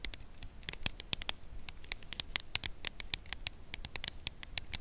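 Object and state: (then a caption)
Full cardboard chocolate box tapped with nails. A full red Lindor cardboard chocolate box is held in both hands and tapped on its edge with long nails. The result is a steady patter of quick, dry, bright clicks that stop instantly, over a faint low background rumble.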